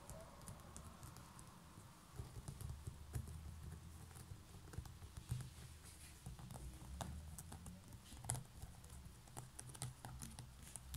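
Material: Straw.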